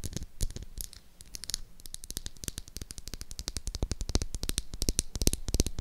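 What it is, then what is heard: Bar of soap. Long acrylic nails tap and scratch rapidly across the flat face of a solid pink oval bar of soap held up close. The result is a dense, uneven stream of short, dry clicks and scrapes with bright crisp tops and a soft low thump underneath.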